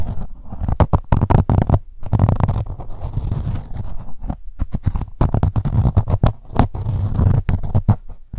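Long nails scratch along the ribs of a soft, blue-grey ribbed corduroy pouch near its label. The result is a dense run of rapid, rough scratching strokes with a muffled, low, rumbling texture and very little bright sound.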